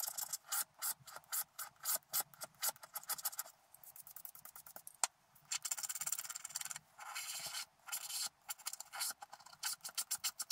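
A wooden stylus and fingertips scratch away the remaining black coating along the edges of a coated scratch art card. Quick, dry, bright scratching strokes come in rapid bursts, broken by a few longer, steady rubbing passes, with almost no low end.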